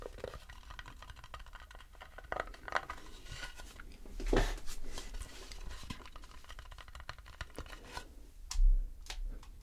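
Fingertips scratch and tap the underside of an empty, light wooden bowl held upside down, making soft, dry scratching with light, quick taps over a low hum. Two louder, brighter bursts of scraping stand out, the last as the bowl is lowered.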